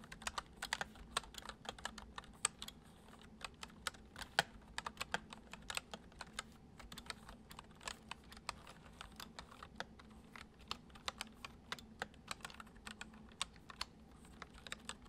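Fingertips tap the keys of a white plastic computer keyboard in continuous typing, producing a steady stream of quiet, short, bright clicks that stop almost instantly. A faint low hum runs underneath throughout.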